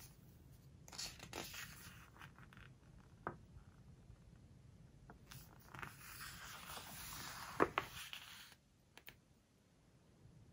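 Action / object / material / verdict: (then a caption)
scrape / glossy paper book pages / paper / none. Fingertips and long nails turn the glossy pages of an open hardcover home decor book and smooth them down. Quiet papery rustles and bright swishes give way to a longer scratchy slide, with a few sharp ticks before it fades into near silence.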